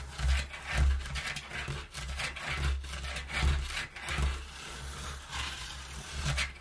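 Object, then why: Empty corrugated cardboard box. Fingertips and nails scratch and rub the inside wall of an empty, partly folded brown corrugated cardboard box. Repeated dry, rasping strokes swell and fade as bright scratchy bursts over a steady low hum.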